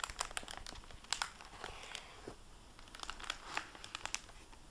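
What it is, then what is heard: Plastic-covered book dust jacket crinkling. Fingertips and nails handle and bend the plastic-covered paper dust jacket flap of a hardcover book lying open. The result is a quiet series of sharp, bright crinkles and crackles that stop dead with no ring, between softer rustling.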